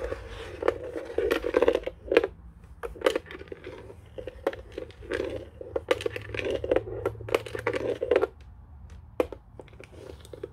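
The underside of a white hollow plastic desk telephone base is scratched and tapped with fingertips and nails. Sharp, quick-decaying clicks and scratchy bursts carry a hollow resonance around 470 Hz, and bright ticks rise above them. The sound comes in irregular clusters separated by quieter scraping.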